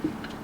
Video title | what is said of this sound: How to Fix a Loose Trailer Hub - BEFORE DISASTER STRIKES | you can shake it back and forth and hear that play